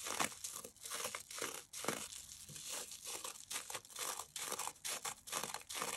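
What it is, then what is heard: Damp cellulose sponge being scratched and squeezed. Fingertips scratch and squeeze the surface of a damp yellow porous cellulose sponge coated with toothpaste foam, held in both hands above a yellow bowl. The result is a fast, irregular run of bright, wet crackling and crinkling bursts with soft foamy squelches in between. The sponge stays whole.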